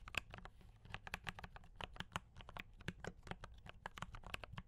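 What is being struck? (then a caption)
Mechanical keyboard with plastic keycaps. Fingertips of both hands type quickly on a D84 mechanical keyboard with brown switches and cream and red plastic keycaps. A steady run of short, crisp clacks with bright tops fades almost instantly, over a soft low rumble.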